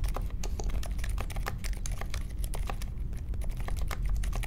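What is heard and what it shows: Steady fingertip typing with both hands on a small 60% mechanical keyboard with silent linear switches, a grey case and white, mint and pink plastic keycaps, set on a marble desk. A quick run of soft, muted key clacks, each with a bright tick over a low, thick body, keeps an even level throughout.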